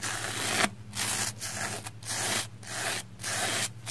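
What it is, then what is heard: Soapy plastic foam sponge being brushed. A small black spoolie brush is swept along the side of a red, porous, soapy plastic foam sponge held on its edge. About six bright, scratchy brushing strokes are heard, separated by short quiet gaps, over a faint steady low hum.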